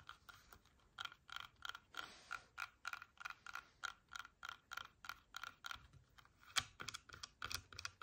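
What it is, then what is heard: Red apple tapped with fingernails. A whole, solid red apple with a sticker, held in both hands, is tapped and scratched with long painted nails. The result is a steady run of quick, dry, clicky taps with a bright, crisp edge, almost no ringing and very little low end, mixed with faint scratchy rustles between them.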